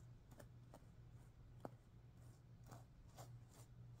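Long painted nails scratch and flick the pink sequins on a stuffed sequin pillow. Soft, bright swishing scrapes and light ticks sit over a steady low hum, with one sharper click standing out. The sound stays quiet throughout.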